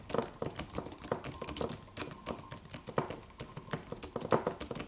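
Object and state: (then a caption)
Aluminum keyboard with plastic keys being typed on. Fingertips of both hands type on a slim silver aluminum computer keyboard with white plastic keys and a solid low-profile body. About thirty quick, soft clicks and taps follow one another in an uneven typing rhythm. Each has a short, dull, mid-toned knock that dies away almost at once.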